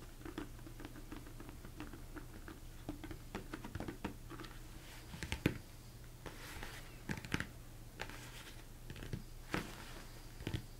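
Fingertips tap and rub the top and sides of a large, hollow, empty plastic mixing bowl turned upside down. A quiet, steady run of short, dull, hollow taps with a low body dies away almost instantly, broken by a few sharper, brighter knocks and soft rubbing swishes over a constant low hum.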